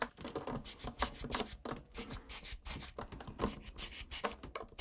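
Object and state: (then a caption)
Mechanical keyboard switches being brushed. A gloved hand scrubs the exposed brown switches and plate of a full-size plastic mechanical keyboard, keycaps removed and dust between the switches, with a small blue brush. Quick bristly, bright scratching strokes rise and fall in short bursts throughout.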